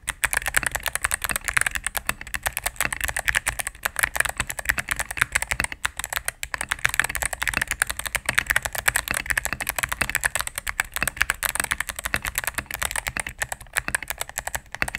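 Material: Plastic.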